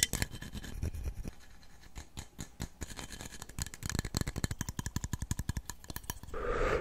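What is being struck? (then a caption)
Cup. A cup is tapped rapidly over and over, making a fast run of short, dry clicks and knocks with very little ring. The taps are quick and uneven in loudness and end with a brief burst of broad, hissy noise.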